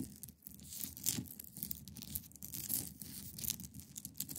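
Long painted nails scratch and tap across the top and sides of a hand-sized solid block of clear ice resting on a fabric surface. A continuous bright, crackly scraping is broken by quick, dry taps, with a soft low thud under the strokes.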